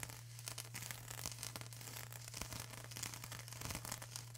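Long acrylic nails scratch and press on a flat sheet of plastic bubble wrap, making a dense run of crisp, bright crackles and scratches with scattered sharper snaps as bubbles pop. A steady low hum runs underneath throughout, and the overall level stays quiet and close.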